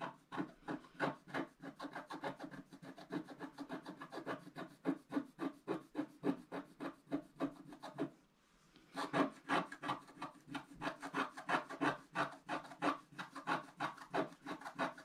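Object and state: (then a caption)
Scratch-art paper being scraped. A wooden stylus rubs and scrapes the coating off a flat black-coated scratch-art card in repeated strokes on the right side. Quick, dry scratching strokes come about three per second, each short and raspy, with a brief pause around the eight-second mark before the scraping resumes.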